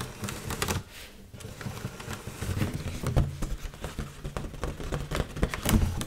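Long nails tap and scratch the surface of an inflated, hollow red mylar foil heart balloon while it is held up. Dry, uneven taps with a low, hollow thump mix with crinkly scratching and brief bright clicks, each tap dying away quickly.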